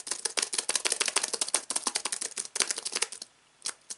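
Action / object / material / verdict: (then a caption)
tap / aluminium-framed keyboard with plastic keys / plastic / none. Fingertips type rapidly on the white plastic keys of a slim aluminium keyboard resting on fabric, producing a dense run of short, bright clicks that pause briefly before two final isolated taps.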